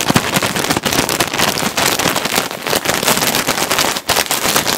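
A clear plastic bag filled with white cotton balls is held in both hands and squeezed and crinkled with the fingertips. It makes a dense, continuous bright crackle with rapid snaps layered together, plus a few brief pauses in the rustling.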